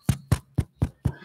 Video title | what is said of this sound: Amateur Extra Class - Chapter 6 Part 1 | Something called microphonics. If you tap a microphone like this one, you can hear the little ticking sound.